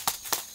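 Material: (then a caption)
Dried pepper. Red chili peppers fully dried in a pepper dryer over a 96-hour schedule are tapped twice, giving two short, crisp, crackly taps with a bright high-pitched tone. The sharp tapping shows the peppers are fully dried.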